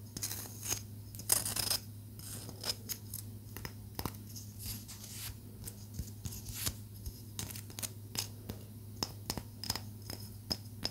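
Long nails tap a small, solid palo santo wood stick held out toward the camera, making a quick run of sharp, bright clicks. Each tap dies away almost instantly over a steady low hum.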